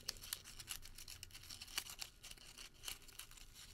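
A crumpled, printed thermal paper receipt is twisted and crinkled by fingertips. It gives a quiet, continuous run of bright, dry crackles with sharp snapping spikes scattered throughout, and each snap dies away almost instantly.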